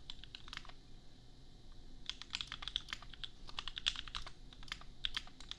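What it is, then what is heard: Plastic mechanical keyboard. Bare fingertips of both hands type on a $250 custom 60% mechanical keyboard with Gateron Milky Yellow switches and red and white plastic keycaps, resting on an anime desk mat. Quick, bright plastic clacks peak near 3.5 kHz and die away almost instantly. A short burst of typing gives way to a brief lull, then a longer, denser run of keystrokes over a faint low hum.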